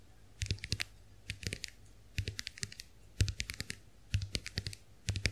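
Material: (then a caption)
Plastic. Long nails tap and scratch the shells of a small, round, white plastic clamshell hand mirror held open. The sound comes in six short bursts of quick, dry, bright clicks, each with a faint low knock and separated by brief pauses. Each tap dies away almost at once with no ring.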